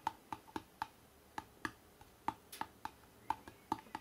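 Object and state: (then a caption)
Hardcover book. Fingertips tap quickly on the cover of a hardcover book with an Empire State Building cover photo, and the book is then held up. About fifteen short, quiet, dry taps land at an uneven pace, each a hollow knock centered near 890 Hz that dies away almost instantly.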